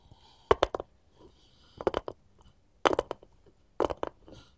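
Gold metal filigree claws worn on both hands scratch and tap the surface of a solid, light wooden cutting board held upright. Four quick bursts of sharp, dry clicking taps stand out against quiet, faint scratching between them, with a woody knock centered around 400 Hz and no lingering ring.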